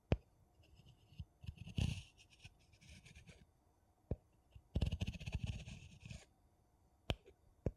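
The rim of a gold metal screw lid on a small, mostly empty glass jar held sideways is scratched with a thin wooden piece and fingernails. The result is bursts of dry, rasping scrapes with a bright edge, separated by quiet gaps. Sharp, quick clicks and taps punctuate the bursts over a soft low rumble.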